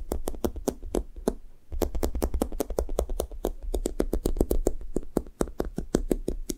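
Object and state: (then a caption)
Sticky foam squishy toy. Fingertips and long nails rapidly tap and press the sticky foam top of a thick, blue-topped foam toast squishy toy. The result is a quick run of short, dry clicks over a soft low thump, with a brief pause partway through before the tapping resumes.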